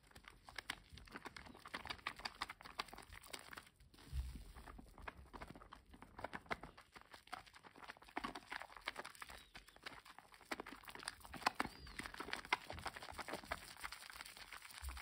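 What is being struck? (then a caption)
Bar of soap rubbed between wet hands. A solid green bar of household soap covered in lather is cupped and rubbed between both bare hands over a foamy basin. Dense wet squishing and crackling lather sounds repeat throughout, with bright fizzing bubbles and soft slippery rubs. A short dull thump near the 4-second mark stands out.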